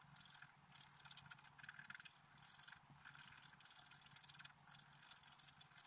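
A wooden stylus scrapes a flat, black-coated scratch-art paper card at the antler of the picture. Quiet, dry, bright scratching comes in quick bursts of short strokes, with a faint low hum underneath.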